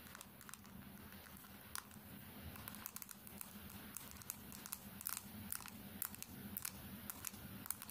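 A small, thin smartphone with a black bezel and glass screen showing its lock screen is held in one hand and tapped quickly with long painted nails. Sharp, dry clicks come in a fast, uneven stream over a low steady hum. They get slightly louder and denser in the second half.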